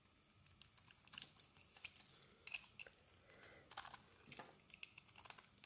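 A utility knife blade shaves a solid green bar of soap with a dark coating, and crumbly flakes fall off. The clip is a quiet, rapid series of short, dry, crisp scrapes and crackles, mostly high and bright, with very little low end.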